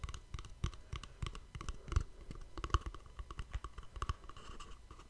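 A small, hollow white cardboard gift box is held in both hands above a microphone and tapped and scratched with fingertips and nails. The result is a quick, uneven run of soft, dry, hollow taps with low thumps and brief scratchy clicks that die away almost instantly.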